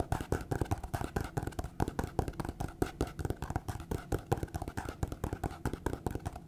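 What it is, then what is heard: Paper notepad. A small, solid, printed paper notepad, a stack of sheets held in the hand, is rapidly scratched and tapped with long painted fingernails. A fast run of short, dry, dull taps blends with papery scratching throughout, mostly low-pitched with very little brightness and almost no ring after each hit.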